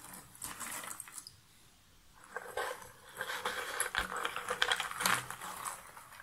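A hand scratches and rakes its fingertips through a pile of cardboard jigsaw puzzle pieces in a shallow box lid. The pieces give a dry, bright rustle with quick clicks and clatters in irregular bursts. The sound goes quiet for about a second near the start, then returns denser and louder before easing off.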